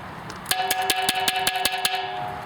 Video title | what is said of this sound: Selecting Quality Pottery | You hear the higher pitch? That's a harder pot.